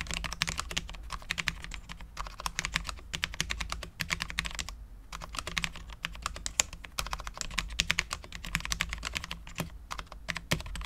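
Both hands type continuously with their fingertips on a full-size, low-profile Cherry MX10.0 mechanical keyboard with Cherry LP switches, dark ABS keycaps and a steel plate. Rapid, crisp, bright key taps come in quick bursts with very short decay and a few brief pauses, over a steady low hum.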